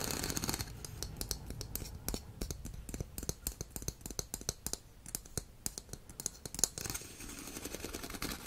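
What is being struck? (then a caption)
Ribbed plastic pop tube toy. Fingernails scratch and tap along a hollow, ribbed blue plastic pop tube fidget toy with a shark head. Dense, dry clicks and scrapes with bright, crackly edges come in rapid bursts over a soft background hiss.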